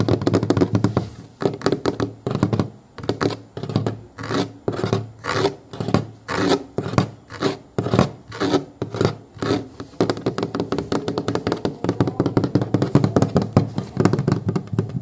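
Fingertips and nails scratch and tap along the hollow molded plastic underside of a booster car seat, working over the plastic base, its ridged edge and the textured foam rim. Quick, dull tapping with almost no ring gives way midway to slower, rhythmic scratching strokes, then returns to dense, rapid tapping. The sound stays low and hollow throughout.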